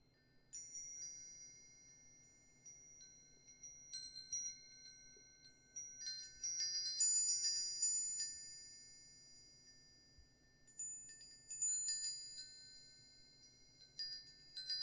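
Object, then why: Aluminium tube wind chime. A hanging wind chime with hollow aluminum tubes and a wooden sail disc is held up by its string and swayed by hand so the tubes strike each other. Bright, high-pitched metallic tones ring out in irregular clusters, overlapping and sustaining for over a second before fading. The clip is quiet overall, with a faint low background hum beneath the chimes.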